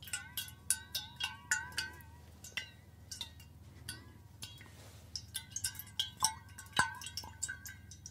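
A stainless steel water bottle held above the shoulder is tapped repeatedly with a fingernail near its base. The quick, irregular taps give bright metallic pings with a clear ringing tone around 1.5 kHz that fades fast, over a faint low hum, with a brief quieter gap midway.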